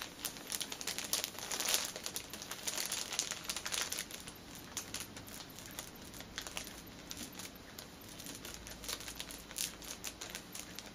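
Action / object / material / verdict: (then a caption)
scrape / cellophane-wrapped fitness band package / cellophane / none. Long nails scratch and tap with a single finger on the plastic film of a flat, cellophane-wrapped fitness band package holding an orange band. The result is a steady stream of soft, bright crinkling and crackling with quick, dry nail ticks, louder near the start and fading to a quieter rustle.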